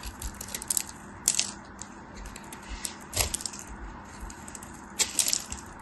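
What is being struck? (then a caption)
Bar of soap scraped by a metal blade. A metal craft knife carves and scrapes chunks from the edges of a solid white soap bar held in fingers with white painted nails, and flakes fall off. Crisp, bright scraping and crackling bursts rise over a quiet, steady hiss, with the loudest cuts near the start, middle and end.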